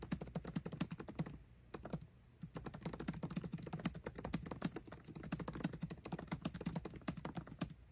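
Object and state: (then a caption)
Laptop keyboard with plastic keys. Both hands type fast with their fingertips on the backlit black plastic keycaps of a 13-inch aluminium MacBook Pro laptop keyboard, tapping the keys continuously. A rapid, dense stream of short, soft, low-toned clicks and thuds is heard, with a brief lull around the second mark before the fast typing resumes to the end.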